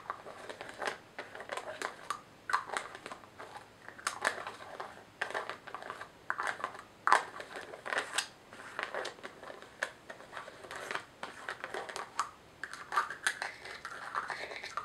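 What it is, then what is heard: Plastic jar with screw lid. Long nails scratch and tap a small white plastic jar held in the hands and work its white screw lid. Rapid, crisp clicking taps and rough scratching run throughout, concentrated around 1 kHz with almost no low end.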